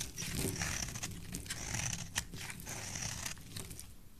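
A metal blade cuts curls and scratches off the edge of a solid red bar of soap held in the hand. The result is a continuous run of crisp, dry scraping and crunching with a bright, hissy texture over a soft low rumble, and one sharper snap of a cut stands out near the middle.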